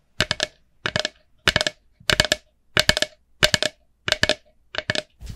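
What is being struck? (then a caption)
Plastic pumpkin-shaped candy bucket. Long manicured nails tap and scratch a small, empty, hollow orange plastic jack-o'-lantern candy bucket with a black handle. Nine short bursts of quick, bright, clicky taps ring briefly with a hollow plastic tone around 600 Hz, separated by brief silences.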